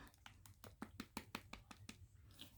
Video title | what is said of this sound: Stenciling and Stamping | you can even shake it and you can hear water in it